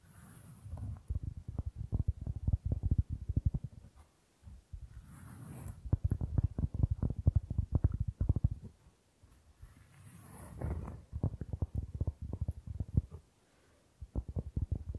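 Fingertips and nails tap and scratch the surface of a round, flat, solid cork board held in both hands close to the microphone. Rapid, dull, low-pitched taps come in dense bursts, separated by brief pauses filled with soft scratching swishes and a faint high hiss.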